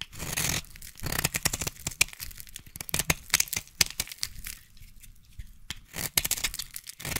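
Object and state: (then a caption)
Bar soap scraped with a blade. A utility knife blade scrapes along the surface of a solid yellow bar of soap held in one hand. Dry, bright shaving and tearing strokes come in quick bursts, broken by sharp crisp clicks as the blade catches and shears off flakes, with short quiet gaps between passes.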